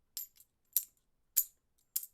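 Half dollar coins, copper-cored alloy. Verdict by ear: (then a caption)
Low silver. 1960s half dollar coins with little silver and copper in them are tossed, giving four short, high, bright clinks with almost no ring. The cheap-sounding clink marks them as low-silver coins, unlike the real silver 1964 Kennedy halves.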